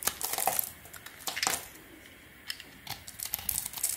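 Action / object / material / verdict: scrape / bar of soap shaved with a small metal blade / soap / none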